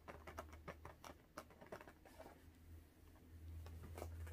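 A small, hollow, air-filled blue latex balloon is held in both hands and rapidly tapped with long orange-painted nails. The result is a quick, uneven pattering of soft, hollow taps that sometimes carry a brighter click. The taps sit over a steady low hum.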